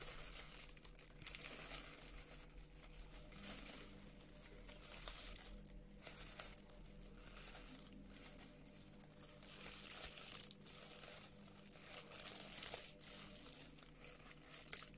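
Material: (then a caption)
Paper. A light, flexible sheet of brown honeycomb-cut kraft paper packaging is held in both hands, crumpled, and scratched with long acrylic nails. The result is a continuous, quiet, bright crinkling and scratching that swells and fades in waves over a faint steady low hum.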